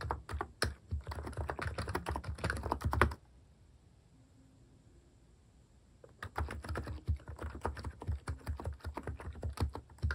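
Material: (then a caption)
Plastic. Fingertips type continuously on the plastic cat-themed keycaps of a capacitive keyboard, producing rapid, muted, low-heavy thocks with short, dry decays. The typing stops for about three seconds of near silence, then resumes at the same steady pace until the end.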